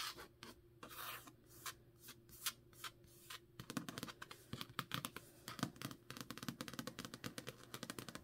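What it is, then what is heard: Paperback book cover. Long nails scratch and rub the card cover of a thick, solid Jade City paperback held in the hand. Slower, broad rubbing strokes with airy bright hiss come first, then the strokes turn into quick, crisp scratches and ticks in a rapid run. The sound stays quiet and close, with each scratch dying away almost at once.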